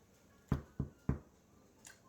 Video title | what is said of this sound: How to Make Artisan Sourdough Bread (by hand) | you can knock on the bottom of it and it should sound hollow